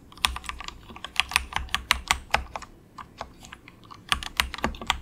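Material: Plastic.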